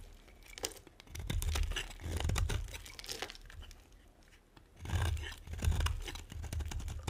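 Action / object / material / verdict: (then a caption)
scrape / bar of soap scraped with a metal cutter / soap / none. A metal cutter scrapes and carves flakes off the face of a solid, dry white bar of soap. It makes crisp, crumbly tearing and crunching strokes with a low thump underneath. The strokes come in uneven bursts with brief pauses between them.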